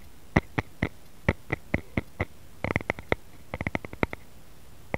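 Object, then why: Wooden rice paddle. Fingertips and short nails of both hands tap and scratch the blade of a solid, light wooden rice paddle lying flat. About nineteen short, dry knocks with almost no ring arrive in an irregular rhythm, some spaced out and others in quick clusters. Each knock has a low thump under a brighter click.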